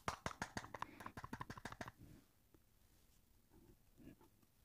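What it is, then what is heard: Hollow plastic disc case. Fingers tap rapidly on the Opiate² Blu-ray package box, about 14 quick, sharp taps in the first two seconds with a hollow, mid-pitched knock. The box sounds hollow, and faint low rustles follow once the tapping stops.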